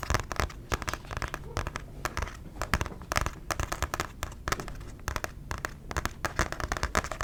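A paper book is tapped with rapid, uneven bursts of short, dry taps. The taps are light with a soft low thud and quick papery clicks that die away almost at once, over a steady quiet hiss between them.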